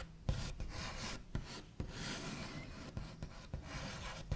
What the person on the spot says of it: Scratchy Tapping and Tracing on a Wooden Table with Backs of Nails